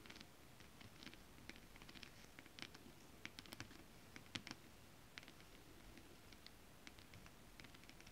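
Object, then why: Holographic foil scale-pattern fabric tapped with fingernails. Long acrylic nails tap rapidly on flat holographic mermaid scale fabric with a foil scale pattern. The result is a quiet, soft patter of short, crisp ticks with a bright edge, over a low rustling bed. A few sharper taps stand out, the strongest just past the middle.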